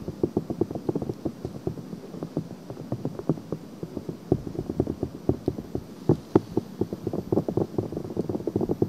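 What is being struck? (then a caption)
Silicone ear cover of a binaural microphone. Long painted fingernails scratch quickly at the rim of a pink, soft silicone ear with a hollow ear canal, mounted on a black binaural microphone. The result is a steady stream of rapid, dull scratching and tapping that stays muffled and low-to-mid in tone, with no bright highs and almost no ring after each stroke.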